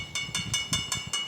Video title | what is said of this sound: గర్భగుడిలో శివుడిని కప్పేస్తున్న నీడ.! - Mystery of Chaya Someswara Temple - @idreamspiritual | మనకు కాయిన్ కొట్టినట్టయితే మనకు శబ్దం వస్తుంది మేడం. ఇక్కడ మనకు మెటల్ సౌండ్స్